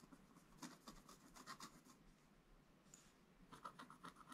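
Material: Coated paper.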